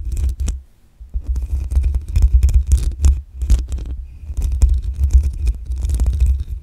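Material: Metal mesh.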